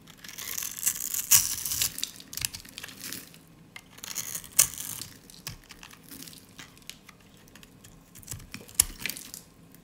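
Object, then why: Soap bar. A utility blade cuts through a solid, dry, pale pink soap bar with a scored grid on top, held in the hand, so small cubes and flakes crumble off. Irregular, dry, crisp crunches and crackles come in bright, quick bursts with almost no low end. Between the louder snaps are softer scraping crumbles.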